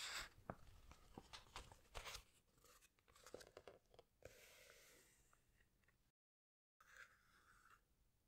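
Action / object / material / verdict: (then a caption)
scrape / glossy paper pages of a hardcover book / paper / none. Fingertips and long nails squeeze and rub the glossy paper pages of a large hardcover animal book, then a page is turned. Dense crinkly rustling and sharp crackles come through with bright, papery texture. A soft sweep of the turning page follows, then a brief silence and a last gentle rub.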